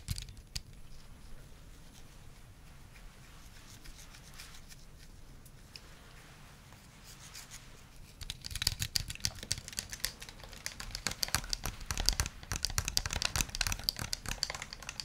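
A white, hand-sized, hollow plastic gamepad is held in both hands and tapped with the fingernails and fingertips, and at one point it is held close to the face. The first half carries soft, sparse tapping over a quiet background. From about 8 seconds the taps become denser, louder, brighter and sharper, forming a rapid, irregular clicking patter with short, dry decays.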